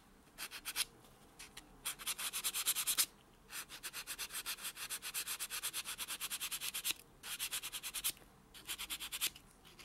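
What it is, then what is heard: Fingernail being buffed with a foam buffer block. A white solid foam nail buffer block is rubbed quickly back and forth on a natural fingernail. About fifty short, bright, hissy strokes come in rhythmic runs separated by brief pauses. There is almost no low end.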